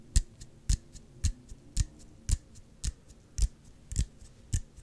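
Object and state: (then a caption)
Plastic squeeze bottle tapped. A small, clear, hollow plastic Gatorade squeeze bottle with an orange cap is held in both hands and tapped with the fingertips and nails. Nine sharper taps alternate with softer ones at a steady, unhurried pace. Each tap is a short, dull low thump topped with a bright click that dies away almost instantly.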